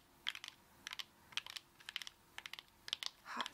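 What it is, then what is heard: Whole coconut tapped with fingernails. Long acrylic nails on both hands tap the fibrous shell of a whole brown coconut held in both hands, giving about fifteen quick, dry, clicky taps in small clusters. The taps are bright and centred around 3 kHz, with almost no ring, and the clip ends with a softer, longer rustling swell.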